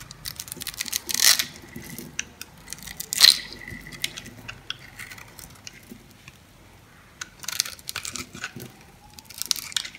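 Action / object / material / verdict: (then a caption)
scrape / bar soap cut with a metal blade / soap / none. A dry, solid white soap bar held in the hand is cut and scraped with a metal blade into tiny crunchy painted cubes. Bright, crisp crunches and scratchy scrapes come in irregular bursts, with the two sharpest snaps near the start, a run of softer scraping in the middle, and clusters of crackly cuts toward the end.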